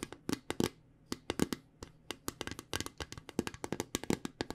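A small round metal tin from the Spot It card game is tapped around its side with long painted nails and fingertips. The result is a quick, uneven series of sharp clicky taps with a faint low metallic tone near 250 Hz and bright nail ticks. Each tap dies away almost at once.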